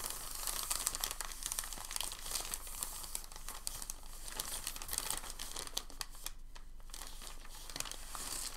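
A thin, crinkled sheet of packing paper is held in both hands and folded and creased with the fingers. The result is a continuous, bright crinkling full of quick, sharp crackles that dips briefly just past the six-second mark before picking back up.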